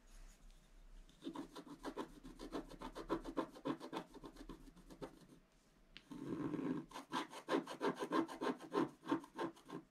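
A wooden stylus scratches lines into the centre of a black-coated scratch-art paper page. Quick, rhythmic scratchy strokes, about three per second, rasp with a dry, mid-pitched texture. They come in two runs separated by a brief quiet pause, the second run starting with a denser, louder scrape.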